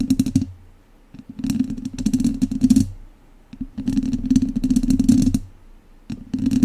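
The tips of two wooden chopsticks scratch the sides of a hollow metal mesh microphone grille, producing four bursts of dense, scratchy rasping and clicking. The bursts are separated by short quiet gaps. Each burst carries a resonant, hollow low-mid hum beneath bright crackling textures.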